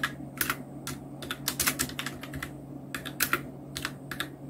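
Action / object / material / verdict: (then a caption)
tap / plastic mechanical keyboard / plastic / none. A full-size black Nubwo Illution NK-70 mechanical keyboard with Outemu red switches, round plastic keycaps and blue backlight is typed on continuously with the fingertips of both hands. Bright, sharp plastic clacks come in quick bursts and short runs over a faint steady low hum.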